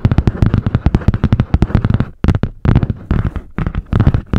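Long painted nails tap and scratch fast on the butterfly-print cardboard hard cover of a medium spiral-bound notebook. A rapid run of sharp, dry taps with a dull, low body and almost no ring fills the first two seconds. It then breaks into shorter bursts of tapping and scratching separated by brief pauses.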